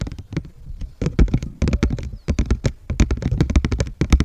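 Fingertips and nails of both hands rub and scratch the surface of a large, thin, flat heart cut from white paper or cardstock, held upright in front of the microphone. The result is a rapid, uneven series of short scratchy taps and crinkles, mostly deep and muffled with brief bright crackly edges, each dying away almost instantly.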